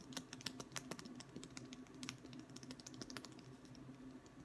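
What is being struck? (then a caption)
Long thin wooden ruler. A long, thin, solid wooden ruler held in the hands is tapped with the fingertips in quick succession. The result is a rapid, irregular patter of short, dry, bright clicks, each dying away almost instantly, over a faint steady low hum, all at a quiet level.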